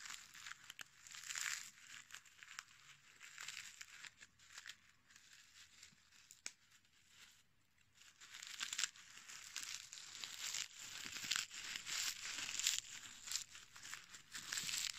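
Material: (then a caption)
Dried petals. A small, dark, dried rose head held in the fingertips is crushed, crumbled and rubbed between the fingers, its brittle petals breaking apart. The result is a dense stream of dry, bright crackling and crinkling with almost no low end. It eases to a softer rustle around the middle, then grows louder and crunchier toward the end.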